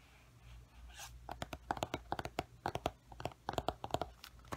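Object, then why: Glossy paperback book cover. Fingertips and nails tap and scratch the glossy paper cover of a large paperback coloring book, "The Time Garden," held up in the air. A soft, brushing scratch at the start gives way to a run of about eighteen quick, dry taps with a papery, mid-pitched knock and almost no ring.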